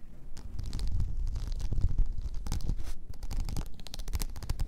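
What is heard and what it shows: Long nails scratch and pick at a blue rhinestone-covered tumbler lying on its side. The result is a steady run of dense, scratchy clicks and rustles with a low, rumbling undertone and short, bright ticks that die away almost instantly.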